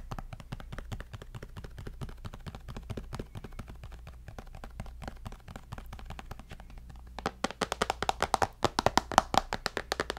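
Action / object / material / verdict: tap / glass-and-aluminium tablet / glass, aluminium / none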